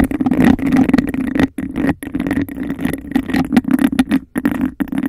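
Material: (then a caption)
Glass. A hollow, empty textured-glass cup held over the mic is tapped and scratched quickly with long acrylic nails. This produces a dense, continuous scraping clatter over a steady hollow resonance in the low-mid range. The flurry breaks off in a few short pauses before picking back up.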